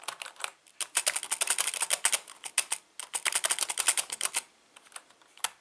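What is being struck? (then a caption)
Plastic membrane computer keyboard. Fingertips type continuously on the letter keys of a full-size black plastic membrane keyboard with a hollow housing, resting on a patterned tablecloth. Rapid, bright, dry clicks with almost no low end come in two dense bursts separated by short pauses, then thin out to a few scattered taps at the end.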